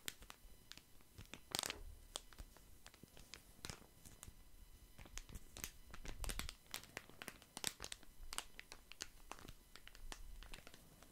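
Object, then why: Plastic wet wipes packet. A small, crinkly, lemon-print plastic wet wipes packet is held in both hands while fingertips crinkle and rub it close to the mic. It produces a steady stream of quiet, sharp, bright crackles and rustles, with a few louder crinkly bursts over a soft low rumble.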